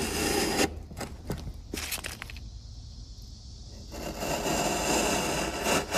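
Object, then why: Wooden block pared with a steel chisel. A steel chisel held in the fingers is pressed and pared down the edge of a solid, light-coloured, hand-sized wooden block with visible end grain, resting on a workbench among shavings. Broad, hissing scrapes open and close the clip, with short, sharp cracking cuts and a quieter stretch in between.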